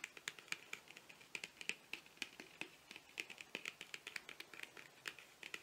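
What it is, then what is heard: Cardboard cosmetic box. Fingernails tap rapidly along the length of a long, narrow, hollow printed cardboard cosmetic box, eyeliner-style packaging held horizontally. About 35 quiet, sharp, bright clicks with almost no ring come in an uneven, quick patter, with a hollow tone centered near 2.6 kHz.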